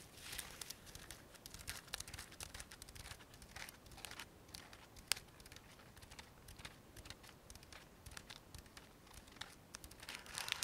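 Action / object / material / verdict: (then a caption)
scrape / sequin-covered fabric pouch / sequins, fabric / none. A small, round, coin-purse-sized fabric pouch covered in small silver sequins, soft-bodied, hollow and held in both hands, is scratched and tapped across its sequins with long manicured nails. The result is a steady stream of quiet, bright crinkling clicks and scratchy rustles. One sharper tap stands out near the middle, and the sound is denser at the start and end.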